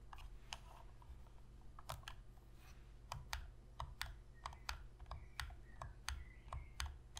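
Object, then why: Plastic game controller. Long pink fingernails tap the shoulder triggers and front of a hollow black plastic Sony PS3 controller held on edge. About nineteen short, dry clicks come at an uneven pace, with brief bright ticks over a steady low hum.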